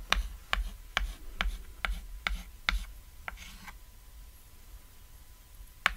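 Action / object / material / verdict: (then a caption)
scrape / chalk on a thin chalkboard / chalk / none. A small, flat, cat-shaped chalkboard made of thin solid board lies on red fabric while a ladder is drawn on it in white chalk with repeated short strokes. About nine sharp, dry chalk taps and scrapes come at an uneven pace, each with a bright, gritty edge. A brief rasping rub follows, then a quiet pause before one last tap.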